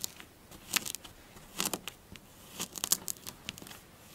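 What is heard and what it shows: Long blue nails rake, scratch and pinch the crumbly surface of a magenta kinetic sand mound on a dark glossy table with both hands. The result is a quiet series of short, bright, crisp crunches and scratchy clicks that start and stop quickly, with almost no low end.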